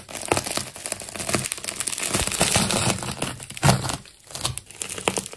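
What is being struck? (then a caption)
Layered plastic tape ball. A metal craft knife cuts through a silver and multicolored layered plastic tape ball, producing dense, continuous crinkling and tearing with bright, crackly texture and a low rumbling undertone. The sound swells and dips, with a sharper burst of tearing near the middle before it briefly quiets and resumes.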